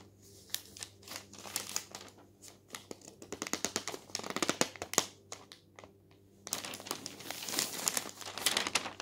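A paper newspaper lies on a table as a palm sweeps across the newsprint page, then the thin sheets are flipped by hand. Dry, bright crinkling and rustling come in quick bursts, with a denser, sustained crumpling swell near the end.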